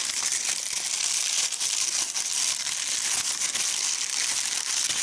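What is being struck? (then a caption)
Small crepe paper doll. Fingertips fold, crumple and shape the folds of a small, light, hollow handmade doll made of white crepe paper tied at the neck. A steady, dense, bright crinkling fills the whole clip, with almost no low end and only small dips in loudness.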